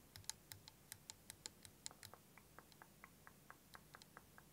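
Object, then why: Plastic liquid motion timer. Fingernails tap and scratch the surface of a clear plastic liquid motion timer with yellow ends and green liquid, held tilted. About 21 short, bright, dry clicks come in an uneven run over low, quiet background noise, each dying away almost instantly.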